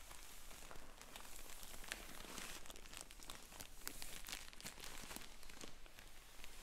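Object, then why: Filled polyethylene shipping mailer. Fingertips and black finger sleeves press, rub and crinkle the surface of a sealed, filled yellow polyethylene shipping mailer lying on a wooden table. The result is dense, continuous plastic crinkling with bright, crisp crackles scattered throughout over a steady low hum.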